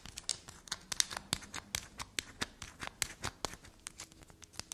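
A carved solid block of black soap is held in the hand while long black nails scratch along its grooves and scrape across it. The result is a rapid run of about 21 short, crisp, bright scratches and ticks with almost no ring or low end.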